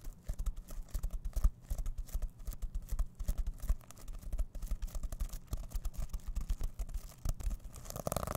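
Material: Plastic sequins.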